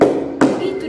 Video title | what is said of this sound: Ibadah Sekolah Minggu Online - 14 Maret 2021 | kalau berisi mungkin akan seperti ini itu dia Suaranya padat